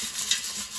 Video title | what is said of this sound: Air Fryer Zucchini Chips Recipe - Keto No Breading - Turn Zucchini Into Healthy Crispy Chips! | Now the zucchini chips are finally crispy. Hear how crispy they are?